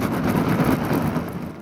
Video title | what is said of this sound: [압타클럽] 아기 놀이 클래스_ 13-18개월 아기와 함께하는 엄마표 풍선 악기 놀이 | 콩이 들어 있는 풍선을 흔들어 보니 둥둥둥 꼭 천둥소리 같네